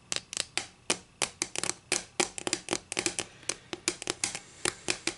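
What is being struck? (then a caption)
Wooden ruler. Long nails tap and scratch a solid wooden ruler lying edge-on on a table. A rapid, irregular series of sharp, bright clicks and short scrapes follows, each decaying quickly, with almost no low end.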